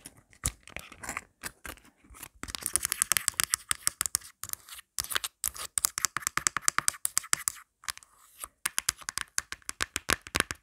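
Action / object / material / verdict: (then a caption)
tap / plastic phone case / plastic / none. Long black acrylic nails tap and scratch fast on the back and round pop grip of a thin, hollow, marble-print plastic phone case. Rapid, sharp clicks and brief scraping bursts come in quick clusters with short pauses between. The sound is bright and dry with almost no low end, and each tap dies away instantly.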